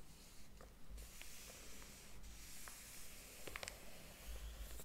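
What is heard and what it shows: Fingers rub across the paper pages of a large, thick hardcover book lying open on a table and flip them. A soft, steady papery rustle and hiss fills the clip, broken by brief crisp crackles as pages turn, over a faint low rumble.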